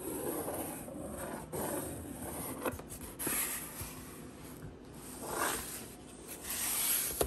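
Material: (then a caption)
Cardboard. Long green and pink acrylic nails scratch and trace along the printed surface and the seam of the top flaps of a large, hollow HelloFresh corrugated cardboard delivery box. The result is a steady, dry scraping hiss that swells and fades in bright, papery sweeps, broken by a few brief, sharper clicks.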